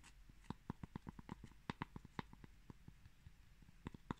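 A palm-sized, round, flat cork coaster made of solid pressed cork granules is held in one hand while fingertips and short nails tap and scratch its textured surface. About sixteen quiet, dull taps land at an uneven pace, each a short click with a soft low thud and no ring. A faint scratchy rustle fills the gaps between them.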